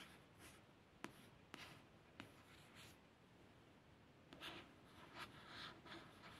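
Soft, dry scratching of a fingernail on the glossy card cover of a paperback, with a few faint clicks.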